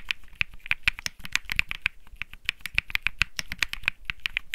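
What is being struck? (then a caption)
Mechanical keyboard with plastic keycaps. Fingertips of one hand type steadily on the white and peach plastic keycaps (Bsun Lollipop) of a white Think 6.5 mechanical keyboard. The result is a fast, even run of short, crisp clacks with a bright tone centered around 2.6 kHz and a soft low thump under each keystroke.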